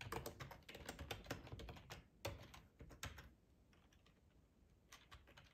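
Fingertips type on a black plastic, hollow-bodied split ergonomic computer keyboard, making quick, irregular tapping clicks with a hollow low thump and bright clacks. The typing runs in a dense burst for about three seconds, goes nearly quiet, then returns as a few soft taps near the end.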